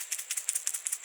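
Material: Steel.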